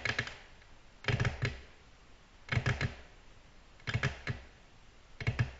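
Both hands tap a large, flat, solid, reflective black glass tabletop with long natural nail tips in rapid, typing-like taps. The clicks come in five quick bursts about a second apart, each sharp and short with a low knock under a bright tick, then quiet in between.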